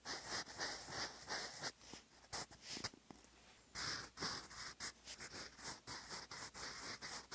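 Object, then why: Graphite pencil on paper notebook page. A sharpened wooden graphite pencil writes cursive across a flat, lined grey paper notebook page, its tip scratching the surface in short, bright writing strokes. The scratchy bursts come in quick runs with brief pauses between them. A steady high tone hums faintly underneath throughout.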